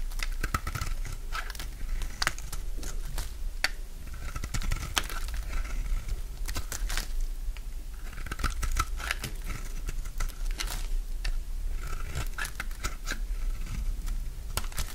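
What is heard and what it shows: A solid, dry, light green bar of soap held in the hand has its surface scraped with a utility knife blade, and flakes fall away. Dense, crisp scraping and crunching clicks run steadily throughout, with a brief bright edge on each stroke over a low constant rumble.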